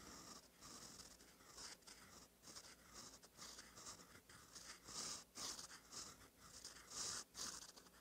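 A gold metal fountain pen nib, held by the fingertips, scratches across a thin cream lined notebook page while writing cursive. The sound is a dry, bright scratching that comes in short, uneven strokes with brief pauses between them.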